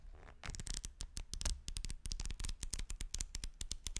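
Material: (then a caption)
Paper. Fingers with painted nails riffle and flap folded white paper sheets against each other, held close to the microphone. After a soft rustle, a fast run of crisp, papery flutters follows, each with a bright edge and a low thump underneath, quickly cut off with almost no ring.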